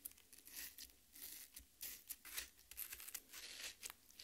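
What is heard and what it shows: Long red nails scratch and tear the juicy flesh of a half watermelon resting on a plate. The result is a quiet run of bright, wet tearing and crackling bursts, each ending quickly, with little low end beneath them.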